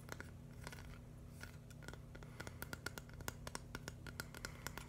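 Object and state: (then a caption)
Plastic brick mosaic. A flat, hand-sized green and white mushroom mosaic built from plastic LEGO bricks is scratched and tapped rapidly with fingernails. Quiet, dry scratching gives way to a quickening run of sharp, bright plastic clicks with a faint ringing tone near 1.4 kHz, over a steady low hum.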